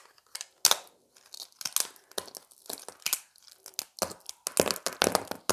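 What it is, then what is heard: Dry soap plate snapping. A small, thin, flat beige piece of dried soap, solid and brittle, is held in both hands and snapped into smaller bits with the fingertips over a pile of soap fragments. The result is a quick series of separate dry, bright cracks and crisp crunches that stop almost instantly, with soft crumbling between them.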